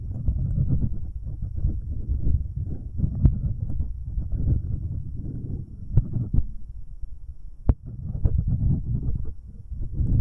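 A rubber finger cot on an index finger rubs the left metal capsule of a binaural microphone, producing dense, deep, muffled scraping and thumping that is almost entirely low-frequency. A few sharper clicks stand out, most clearly near 3.3, 6 and 7.7 seconds.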